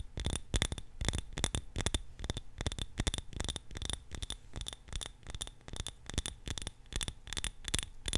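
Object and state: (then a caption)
Glass candle jar tapped with nails. A small glass jar filled with purple candle wax, with its wick visible, is held in both hands and tapped with long nails on its sides and rim. The result is a fast, steady run of short, dry clicks, each with a bright glassy ping on top and a soft low thump underneath.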